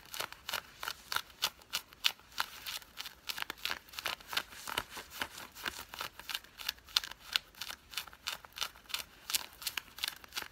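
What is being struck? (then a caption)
Cotton fleece sweatpants. Long fingernails scratch worn grey cotton fleece sweatpants with a green side stripe, making a rapid series of short, dry, bright scraping strokes. Each quick rasp stands out against near silence, with almost no low end.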